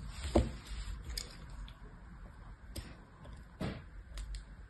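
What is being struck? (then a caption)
Bar of soap. A thin knife blade scratches and carves crosshatch lines into a solid, cream-coloured rectangular bar of soap, held still by one hand as it lies among other bars on a blue cloth, flaking off small shavings. Quiet, short scraping strokes rise in separate bursts over a low, steady rumble, with the first stroke loudest.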